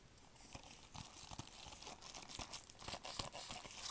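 A hard plastic movie DVD case, hollow, thin and handheld-sized, still sealed in cellophane shrink wrap, is tapped and scratched with fingertips in purple nitrile gloves while the wrap is crinkled. Quiet, uneven crisp taps and crackles sit over a steady rustling hiss, with brief low thumps.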